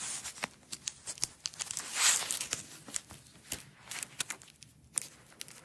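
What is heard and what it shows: A single thin, flat, flexible blue nylon hook-and-loop strap is peeled apart, laid out and rolled up by long acrylic nails and fingertips. The sound is bright, crackling velcro tearing, with many short, sharp ticks and a louder rasping peel near the middle. It is quiet overall and has almost no low end.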